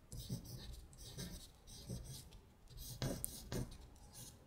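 A long nail traces along the text of a thin paper sheet printed with lyrics, lying flat. It makes a series of soft, bright scratching strokes with short pauses between them, over a low, dull rumble.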